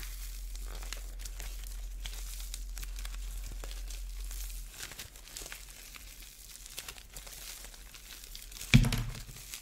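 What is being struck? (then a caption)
Plaster-shelled ball with foam bead core. A fist-sized ball with a white plaster shell over a core of small orange foam beads is squeezed from intact with thumbs and fingertips, cracking the plaster into flakes. Dense, bright crunching and crinkling runs throughout as the beads rub, over a low steady hum that drops away about halfway. Near the end comes one sharper, louder crack.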